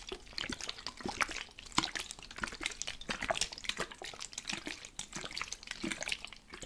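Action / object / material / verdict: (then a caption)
shake / plastic spray bottle with water / plastic / none. A plastic spray bottle with water inside is shaken, and the water sloshes and splashes against its walls in quick, bright, irregular bursts. The sloshing is close, dense and continuous for the whole clip.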